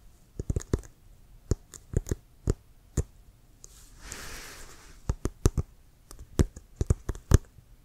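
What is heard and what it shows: Fingertips and nails tap and scratch the tip and sides of a brown leather American football, hollow and inflated and held upright. Short, dry taps with a dull low thump come in irregular bursts. Around the middle, a soft, breathy scratching rubs across the leather before the tapping returns.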